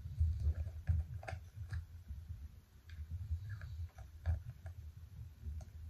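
Long nails tap and scratch the silver metal lid and sides of a small round purple plastic cosmetic jar held in both hands against a white surface. The sound is a quiet series of dull, low thuds and soft clicks with faint scratching, each tap dying away quickly.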